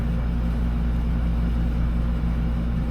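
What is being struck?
Nothing is struck.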